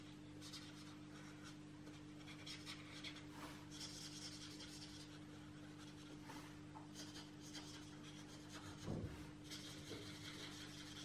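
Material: Paper.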